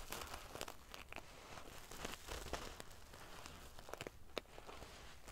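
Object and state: Metal sequin pillow.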